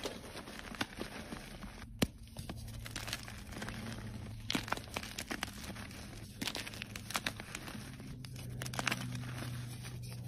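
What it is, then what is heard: Gym chalk block crumbling. White gym chalk blocks (magnesium carbonate), solid and powdery, are crushed and crumbled between dusty fingertips and fingernails. Dry crunching and crinkling snaps and crackles fill the clip, with sharp bright cracks as pieces break and powder falls, over a low steady hum.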